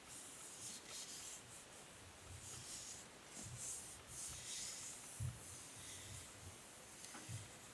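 Fingertips and nails rub across the grey plastic back of a hair brush, making a soft, continuous scratchy hiss that is brightest in the high range. Faint low bumps and brief taps surface now and then, with a slightly firmer knock near the end.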